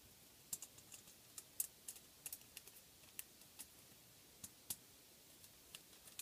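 A crinkled, thin, flexible sheet of aluminum foil lies flat on a table while the fingertips of one hand tap and scratch its surface. The result is a quiet series of short, bright, crackly ticks at an irregular pace, with almost no low end and each snap dying away almost at once.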